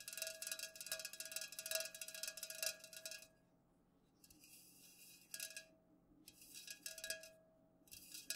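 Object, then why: Aluminium drink can tapped with fingernails. Long nails tap quickly on the sides of an unopened, full Pepsi aluminum can standing upright. The result is a dense run of bright, clicky metallic taps with a faint ring near 650 Hz. The tapping comes in bursts separated by quieter pauses.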